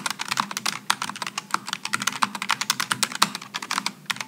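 Fingertips type rapidly on a Logitech G915 low-profile mechanical keyboard with aluminum and plastic keycaps, resting on a wooden desk. A fast, steady stream of short, crisp clicks with bright, high-reaching clatter and almost no low end, each keystroke dying away almost instantly.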